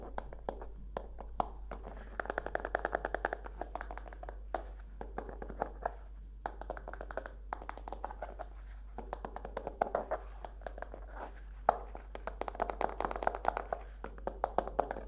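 Long nails tap rapidly on the grey fabric folio cover of a Kindle e-reader and along its edge as it is held flat and tilted. The taps are soft, dry and muffled, centered around the midrange with no ring, coming in dense bursts over a steady low hum.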